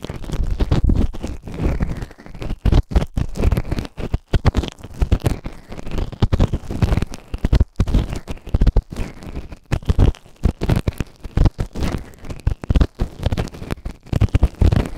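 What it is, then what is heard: Silicone ear microphone scraped. A white plastic ear tool held in fingertips scrapes inside the canal of the right ear of a grey, soft but solid silicone ear-shaped microphone on a round base. Close, bass-heavy scratching and crackling come in rapid, uneven bursts with a deep rumbling texture and brief gaps, continuing throughout without any speech.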